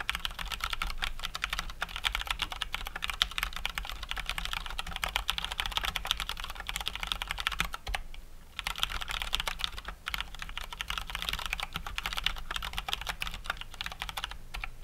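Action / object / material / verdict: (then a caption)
tap / plastic mechanical keyboard / plastic / none. Both hands type steadily with their fingertips on a COX Dauntless full-size mechanical keyboard with gray and white plastic keycaps and Cherry MX Brown switches. The result is a fast, continuous stream of crisp, bright clacks with a brief pause around the middle, over a faint low hum.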